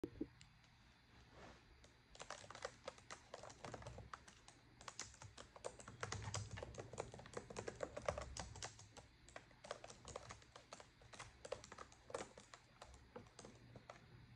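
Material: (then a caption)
Plastic. A black plastic laptop keyboard is typed on quickly by both hands using very long decorated acrylic nails and fingertips. The result is a dense run of rapid, crisp key clicks and bright nail taps, irregular in rhythm over a low steady hum.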